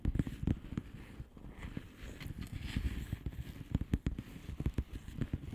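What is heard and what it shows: Long polished fingernails tap and scratch a flat blue plastic bubble wrap envelope. Quick, soft taps with a dull, low thump come in uneven bursts, mixed with faint crinkly scratching, and each tap dies away almost at once.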